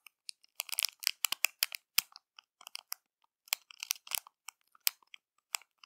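Long matte nails and fingertips scratch and press a small, flat clear plastic bag with crumpled foil inside, making it crinkle. Quiet, crisp crackles come in irregular bursts and scattered single snaps. The sound is bright and thin with no low end, and each crackle stops almost instantly.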